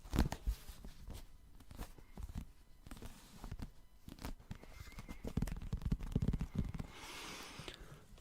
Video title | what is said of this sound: My First ASMR Video! Ramble About Manga + Book Tapping 📕🎧 | I think will have really nice sounds as it is hard back